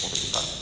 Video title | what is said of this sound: Vistoria de recebimento de imóvel novo na prática! | Ele tá bem oco aqui, ó, diferença de som.